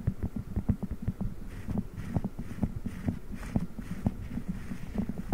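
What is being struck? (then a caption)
Silicone spiked pad over a microphone. Fingertips press and rub a soft blue silicone spiked massage pad wrapped over a microphone grille. The result is a steady run of dull, muffled low thumps and rubbing bumps over a low, humming throb, with almost nothing bright and only short, dead decays.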